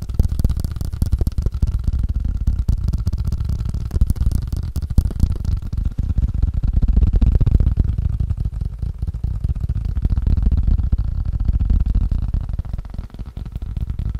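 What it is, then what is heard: Ping pong paddle tapped. A wood and rubber ping pong paddle is tapped rapidly and continuously, about four taps per second in an uneven rhythm. The taps are dull, deep thuds with almost no ring, blending into a steady low rumble with only a faint brighter patter on top.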